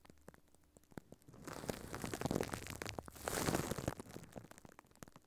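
A furry pink puppet's hands crumple and squeeze a thin, clear plastic film or bag wrapped over a microphone head on a stand. Soft scattered crackles build into dense, close-up crinkling and rustling with two louder swells, then thin back out to sparse clicks and crinkles.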